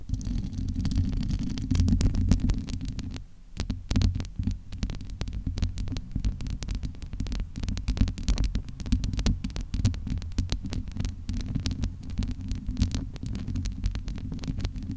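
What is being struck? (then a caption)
Steel-mesh microphone grille. Cupped hands and long nails rub and scratch the domed, hollow steel-mesh grille of a large USB microphone. The result is a deep, booming rumble with a low throb, overlaid by dense, rapid crackling scratches that briefly quiet about a third of the way through.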